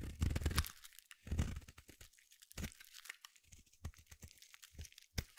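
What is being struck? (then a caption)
Solid bar soap. A small metal blade shaves long flakes and curls off the end of a palm-sized solid blue bar of soap. Two longer, gritty scraping strokes come first, then a run of shorter, crisp crackling cuts with brief quiet gaps between them.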